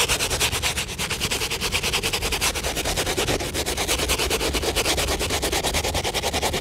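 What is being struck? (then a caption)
Rubber sneaker sole scrubbed with a bristle brush. An upside-down Air Jordan 1 sneaker has its wet, foamy rubber outsole scrubbed with a soapy bristle shoe brush in rapid, repeated strokes. The sound is a steady, bright, scratchy swishing with a wet hiss, pulsing about three times per second throughout.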